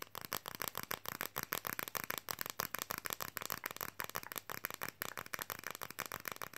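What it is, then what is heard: Flexible fridge magnet. A thin, flexible printed red Coca-Cola fridge magnet, held in both hands, is tapped fast with fingernails. About 28 quick, dry, clicky taps sound in a steady rapid stream, bright and papery with a midrange center near 1 kHz and almost no low end. Each tap stops instantly with no ring.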